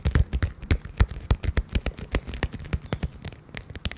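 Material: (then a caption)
Vinyl. Long painted nails tap and scratch the surface of a small pink glitter vinyl zippered makeup pouch held horizontally in both hands close to the microphone. A quick, uneven series of short, dry, muffled taps with soft scratching between them, mostly low and thumpy, with brief bright clicks on the sharper hits.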